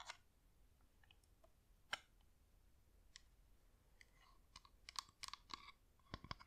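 A wax flameless LED pillar candle with a hollow top is turned in the hands while long nails tap and scratch its surface. The result is quiet, sparse, dry clicks and light scratches with a bright edge and a faint ring around 1 kHz, growing busier toward the end. Each hit dies away almost instantly.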